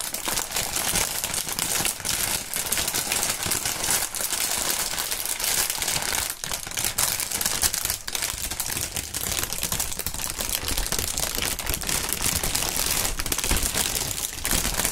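Clear printed polyethylene air-cushion packaging film, the plastic air pillow kind, is crinkled and waved by hand. It makes a dense, steady, bright crackle of overlapping crinkles, with a little low rustle underneath, lasting the whole clip.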